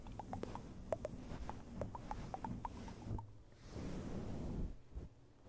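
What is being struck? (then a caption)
Synthetic fur microphone windscreen. Fingertips scratch, stroke and cup a small, round, fluffy grey synthetic-fur microphone windscreen. Quick crisp scratches with short bright ticks sit over a low, rumbling handling noise, then the sound dulls into a softer, muffled rush as the fur is cupped before it fades.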